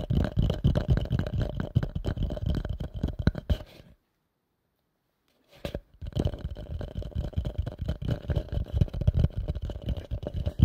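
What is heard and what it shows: A hollow, empty pale yellow plastic bowl is held upside down near the mic and tapped rapidly with fingertips and nails. The taps make a dense, irregular flurry of soft, low, hollow thuds with a faint ringing resonance. The tapping stops for about a second and a half of silence, then resumes just as quickly until the end.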